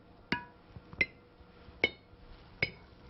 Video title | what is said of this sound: Jams and Jellies | You can hear that clear ringing sound. Tells me that the jars are in good shape and they're completely sealed.